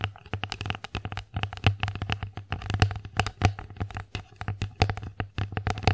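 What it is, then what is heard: Wooden plate tapped with fingernails. Long acrylic nails tap rapidly across the surface of an empty wooden bear-face plate, producing a steady stream of short, crisp clicks. Each tap has a hollow, low wooden thump under a bright tick and dies away almost at once. Near the end the sound briefly crossfades.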